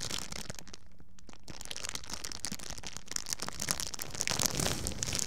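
A thin, empty, clear plastic bag is bunched up, squeezed and crinkled with fingertips close to the microphone. It makes dense, bright crackling and crinkling with a brief quieter lull near the start, then grows busier and louder toward the end.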